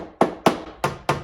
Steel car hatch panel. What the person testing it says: if I was tapping on an area where it's hollow, you can hear big difference